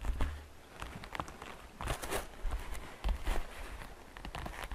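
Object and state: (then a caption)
Plastic basket tapped with fingernails. Fingernails tap the sides and edges of a hollow, transparent green glitter plastic basket with faceted sides. The result is a run of quick, dry clicks with bright ticks on top and soft, low hollow thumps underneath, each dying away almost at once.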